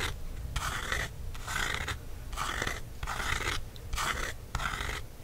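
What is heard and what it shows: Fingertips scratch across a black matte paperback book cover, then a wooden stick tip taps it. The clip is a series of dry, papery scratching strokes with a bright, hissy texture, each burst rising and fading over a steady low rumble.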